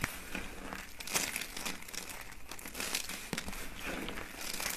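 Peach and white thin, hollow dry soap curls resting on a mat are crushed by hand into small flakes. The result is a steady, dense crinkling crunch with bright, crackly detail and a few sharper snaps along the way.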